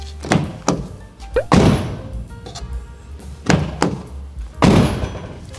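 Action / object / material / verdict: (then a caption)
strike / van door, bare steel panel / steel / ringing. A door on a van without the insulation option, a bare steel panel, is opened and closed several times, giving heavy low thunks and latch clacks. Each slam leaves a short ringing resonance from the uninsulated metal, with a faint steady low hum underneath.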